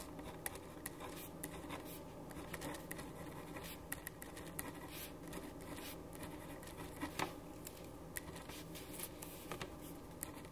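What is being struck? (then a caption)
Paper sheet under a ballpoint pen. A black ballpoint pen writes on a white paper sheet resting on a wooden desk, scratching across the paper. Soft, continuous scratching strokes with brief bright ticks run over a quiet, steady hum with faint tonal lines throughout.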